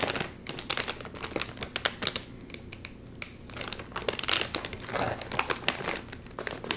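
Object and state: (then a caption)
Crinkled plastic chip bag. Fingers crinkle and tug at the sealed top of a full Doritos chip bag made of metallized plastic film. The result is a dense run of sharp, bright crinkling and crackling bursts with little low end, each snapping off almost instantly.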